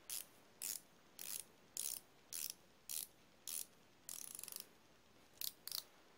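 A chrome steel flexible-head ratcheting wrench is held in both hands while its flexing head and ratchet are worked. It gives ten short bursts of bright, dry clicking, including one longer run of rapid ticks near the end. Each burst stops cleanly over a faint, quiet background.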